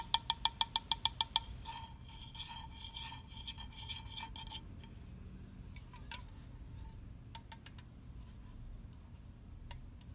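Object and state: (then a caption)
Aluminium soda can, tapped and scratched. Fingernails tap and scratch the bottom and side of an unopened red aluminium orange soda can held in the hand. A quick run of about nine bright, metallic ticks comes first, then a few seconds of continuous, bright scratching with a ringing metallic tone. After that, a handful of sparse, sharp taps land over a quiet background.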